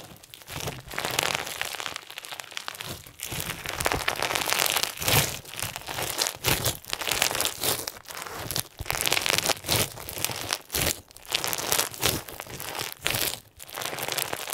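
Clear slime with pink and white plastic sequins is squeezed tightly in the fists and fingers, giving a dense, bright crinkly crunch. The crackling comes in repeated squeezing bursts with short pauses between them.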